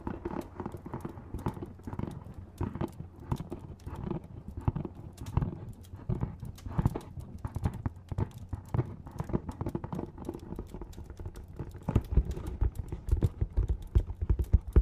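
Fingernails tap rapidly on a small, hollow, dark printed cardboard box with a barcode label. The taps are dull, low, and irregular, each dying away almost at once. They grow louder and sharper over the last few seconds.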